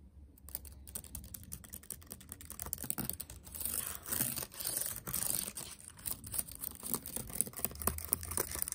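Fingertips type rapidly on a backlit laptop keyboard with black plastic keys set in a metal body. The result is a dense, quick run of soft, short clicks and taps with a faint low hum underneath. Brighter bursts swell around the middle of the clip.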